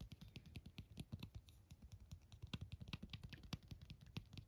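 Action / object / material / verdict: tap / plastic phone case / plastic / none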